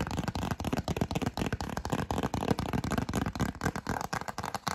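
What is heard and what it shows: Long acrylic nails tap and scratch a yellow cardstock greeting card, shown open and then closed, held close to the microphone. Rapid, irregular dry taps and papery scratches run continuously with no ringing afterward.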